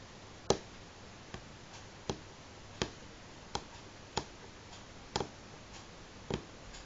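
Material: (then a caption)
Wood. Slow single fingernail taps on a solid light wooden table top. Eight short, dry clicks come at uneven intervals, each dying away almost instantly over a quiet background hiss. A couple of the later taps sound doubled.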